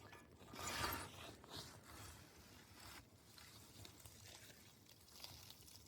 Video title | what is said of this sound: Building a Homestead Garden in Newfoundland - Making Biochar | It kind of sounds like glass when you move it around.